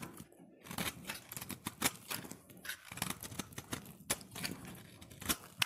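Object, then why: Soap bar shaved with a knife blade. A solid cream-white embossed soap bar, held in the hand, is shaved with a utility knife blade. Repeated short, crisp scraping strokes with bright, crackly highs follow one another rapidly, with a few sharper snaps standing out. Each stroke ends quickly with almost no ring.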